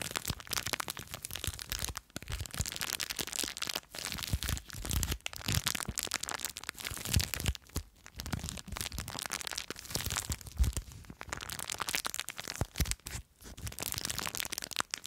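Long nails scratch and squeeze a small clear plastic bag full of blue foam beads. The result is a steady run of bright, crinkly crackling and crunching, with a soft low rustle underneath and a few brief pauses along the way.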